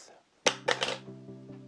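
A new metal American Express Business Gold credit card is dropped to compare its sound with the old plastic card. It lands with a sharp, bright clink and bounces twice more, three quick metallic hits, then fades into a faint lingering ring. The metal card sounds louder than the plastic one.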